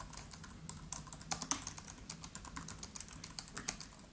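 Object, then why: Laptop keyboard, plastic keys in aluminium body. Both hands tap rapidly with their fingertips on a MacBook Pro's built-in keyboard, black plastic keys set in a silver aluminium case. About 28 quick, bright keystroke clicks come in an uneven, steady rhythm, each dying away almost at once over a faint low hum.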